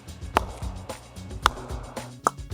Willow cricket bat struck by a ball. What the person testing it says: A good English willow when you hit it off the sweet spot will make a beautiful sound